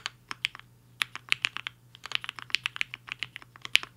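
Fingertips of both hands type fast on a compact mechanical keyboard with a black case and white and pink plastic keycaps, resting on a desk mat. Around twenty quick, sharp, bright clacks come in uneven bursts, each dying instantly with no ring over a faint low hum.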